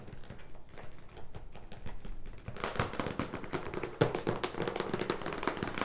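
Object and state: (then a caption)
Cardboard box. Fingertips and nails rapidly tap the front and top of a large, closed, printed cardboard product box for a leg massager, which stands on a wooden table and is presumably full. The taps are quick, dry, hollow thuds with short, crisp nail clicks layered on top, and they die away almost instantly. The tapping grows denser and louder about halfway through.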